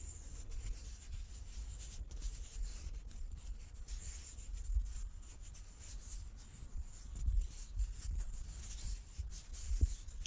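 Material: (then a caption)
Wood. A large, solid light-wood die with dark pips is held in both hands and turned in the palms while fingertips and nails rub and slide over its faces. The result is a quiet, steady rubbing and scratching with a faint bright hiss over a low, muffled rumble, broken by a few slightly louder soft knocks and scrapes toward the end.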